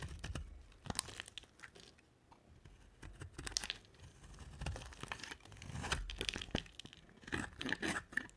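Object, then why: Bar of soap cut with a knife blade. A utility knife blade carves flakes off a dry, solid white soap bar with a dark coating. Quiet, crisp scraping and crumbly tearing sounds come in irregular bursts, with bright, dry edges and a low soft thump underneath. Each cut stops short with no ring.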